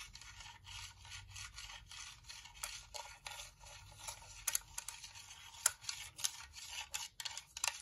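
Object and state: Plastic UV nail lamp being scratched.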